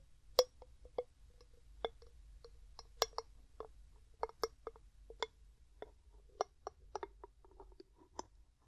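Fingers set down, twist and tap the gold metal screw lid of a medium, clear glass jar that is hollow and mostly empty. About fourteen sharp, irregularly spaced clicks and taps are heard, each with a brief, mid-pitched glassy ring and a bright edge, over a quiet low background hum.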